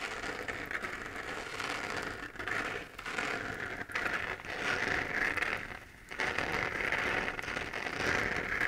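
Long nails scratch and tap across the textured surface of a hollow, lit 3D-printed plastic moon lamp held in both hands. The result is a dense, bright, crackly scratching centered in the upper mids, with quick dry taps. It pauses briefly a few times before the steady rasp resumes.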